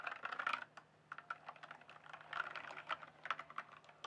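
A full-size RGB-backlit plastic mechanical computer keyboard, with hollow keys on a solid base, is typed and tapped with fingertips. Quick bursts of dry, clacky keystrokes, centered around 1.3 kHz with bright edges, come in clusters with a brief pause near the one-second mark. Each click dies away almost instantly.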